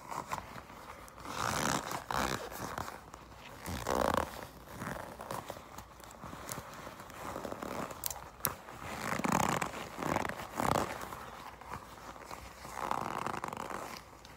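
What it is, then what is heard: Leather jacket. A soft, flexible black leather jacket, possibly faux, is gripped, squeezed and scratched by long pink acrylic nails and fingertips. The result is a steady run of creaking, rustling scrapes that swell and fade in broad midrange bursts, with a few sharp bright clicks from the nails.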